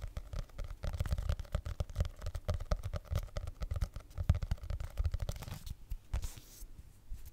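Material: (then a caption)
Faux leather. Fingernails rapidly tap and scratch the faux leather cover of a solid red hardcover notebook held upright in both hands. The result is a dense, continuous stream of soft, dull thuds with short brushing scrapes; each tap dies away almost instantly. Around the six-second mark the tapping briefly thins into a lighter, airy scratching before the taps resume.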